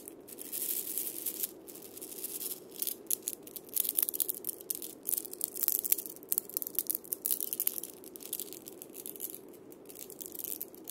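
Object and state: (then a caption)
Wood and steel-bead cabasa. A single wood and steel-bead cabasa, held in the hand, is played as fingers roll and scratch the steel beads over its wooden body. The result is a soft, continuous bright metallic rattling and scraping, scattered with short, crisp clicks and almost no low end.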